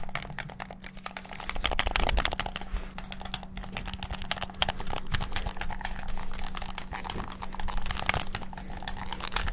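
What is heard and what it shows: Fingertips rapidly bash the buttons of a white and black hollow plastic PS5-style gamepad, producing a dense stream of sharp, dry, bright clicks that die away almost instantly. A steady low hum runs underneath the whole time.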